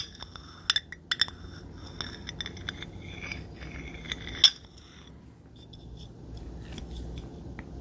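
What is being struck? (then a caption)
Glass bottle tapped and scraped with a stone roller. A jade roller's stone head and metal frame are scraped and tapped along the body of a clear, empty, hollow glass drink bottle with a blue label, held by the neck. Sharp, bright glassy clinks with a short high ring stand out over soft scraping, with the loudest tap near the middle. The clip then settles into quieter, gritty rubbing over a faint low background rumble.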